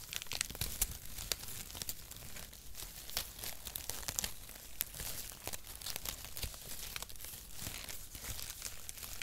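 A mat of brown cardboard packaging shreds is held flat in both hands and crinkled and squeezed with the fingers. Steady, dense crinkling and crackling runs throughout, with bright, sharp snaps over a soft low rustle.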